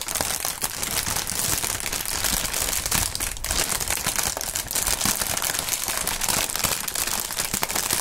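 Thin, clear plastic air-pillow packing film, partly inflated, is crumpled and squeezed by the bare fingertips of both gloved hands. A dense, continuous bright crinkling with many quick crackles runs at a steady level throughout, with little low-end weight.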